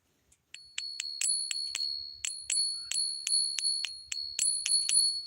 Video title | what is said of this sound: This is what WW3 Looks and Feels Like | it has a very unique tone. Silver has its own. It's called the ping test.